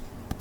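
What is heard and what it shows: A metal Terminator 2 special edition DVD case is tapped ear to ear. A brief, dull, low tap stands out against a quiet, low rumbling background and dies away almost at once.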